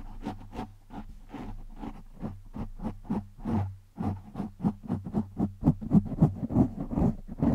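A hand scratches and rubs a black foam windscreen over a microphone with its fingertips and short nails. Quick, irregular bursts of muffled, low-heavy scratching and rustling grow louder and denser in the second half, over a faint steady low hum.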